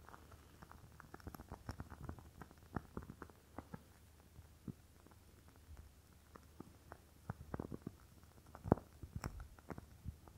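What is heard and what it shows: A rectangular glass candle jar filled with red wax is held in the hand and tapped on the glass with fingernails. The result is a quiet, irregular stream of short, dull clicks with almost no ring, mostly low in tone, with a few louder taps standing out.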